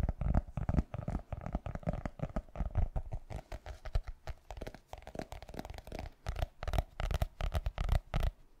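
Fingertips and nails tap and scratch the cover of a solid black hardcover notebook, roughly A5 size. A rapid, uneven run of short, dull, low thuds is mixed with soft scratching, and each tap dies away almost at once.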